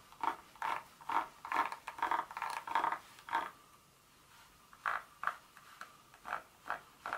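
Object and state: Dark chocolate bar.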